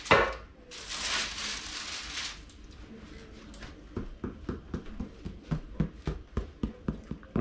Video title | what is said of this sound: Kuivatun taikinajuuren herättäminen | kuulostaa ontolta